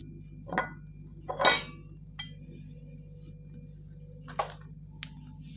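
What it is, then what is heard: Slate pencils dropped on a tiled floor. Thin, solid, wet grey slate pencil sticks are picked up by the fingers and dropped onto a smooth tiled floor, where they clatter into a loose pile. A series of short, bright, high clinks and ticks is spread over several seconds, with the loudest cluster near the start. A steady low hum sits underneath.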